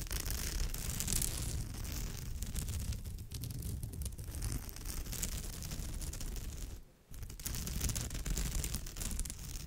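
Long pale nails scratch and tap on the surface of a woven straw or raffia bag. The result is a steady, dense scratching rustle with a heavy low rumble and bright crackly texture on top. It breaks off briefly near the 7-second mark before resuming.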